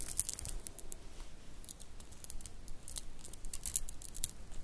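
A mother-of-pearl shell bead bracelet, a strand of small solid grey iridescent shell cube beads, is held between fingertips and long nails and rolled so the beads click together. Quick, irregular, bright clicks and ticks come over a soft low rumble, with brief crinkly rustling between them.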